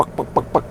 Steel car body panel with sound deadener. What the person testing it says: kita pasang bahan peredam yang tebal supaya diketoknya itu pek pek pek pek